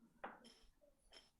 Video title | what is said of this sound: Between Two Teapots with Mark Mohler - 02/05/2021 - LIVE | got a good sound on that one there